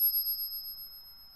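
A 1964 90% silver half dollar is pinged while held right at the microphone and gives a genuine ring. A bright, pure tone with a strong partial and another sustains and slowly fades over more than a second, pulsing gently as it rings like a bell.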